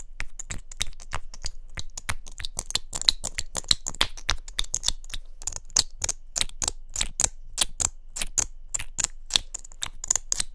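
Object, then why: Small plastic mascara tube. Long nails rapidly tap and click on a small hollow pink plastic mascara tube with a gold cap. The result is a fast, steady stream of sharp, dry clicks with a bright edge and no ring, each one stopping instantly.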